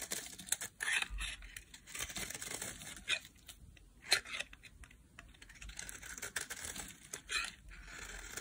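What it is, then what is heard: Dry bar soap being carved. A solid orange dry bar of soap is picked up and carved with a metal blade into flakes. Bright, dry scraping and cutting strokes come in short, irregular bursts with quiet gaps between them, and the soap flakes crumble and crinkle away as it is shaved.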